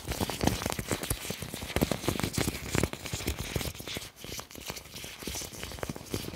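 Fingertips pinch, crumple and rub a large, thin, clear plastic apron, producing continuous crinkling with dense, sharp crackles over a soft, hissy rustle. The crackle comes in quick bursts that rise and fall in loudness across the clip, with no lasting ring after each one.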